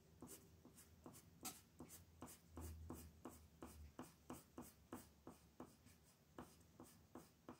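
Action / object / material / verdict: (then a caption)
scrape / colored pencil on a paper sheet / paper / none. A red colored pencil scratches and rubs across a thin white paper sheet printed with a mandala, lying flat on a dark table, while the other hand holds the sheet still. About 15 quick, fairly regular coloring strokes are heard as soft, bright scratchy bursts over a faint low hum.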